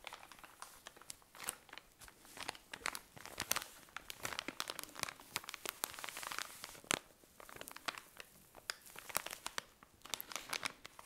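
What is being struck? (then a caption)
Cotton pads in thin plastic wrapping. A tall cylindrical pack of cotton pads in thin plastic wrapping is squeezed and crinkled with fingernails. It gives a quiet, continuous run of bright, dry plastic crinkles and sharp crackles, with no low end. The short snaps rise and fall in loose bursts throughout.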